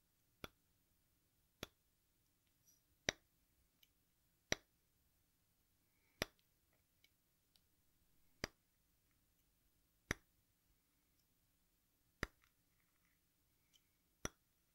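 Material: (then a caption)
Chalk. A craft knife blade scrapes and pokes the red surface of a solid, watermelon-slice-shaped piece of sidewalk chalk held tilted over a bowl. Nine sharp, bright clicks ring out at roughly even intervals, each dying away almost instantly. Faint, soft scraping ticks fill the quiet gaps between them.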